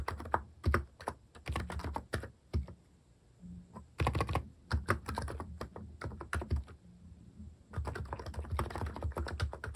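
Fingertips type continuously on a compact electrostatic capacitive keyboard fitted with plastic cat-shaped keycaps. The result is rapid bursts of soft, muted, low-heavy clacks with very short decay, separated by brief pauses.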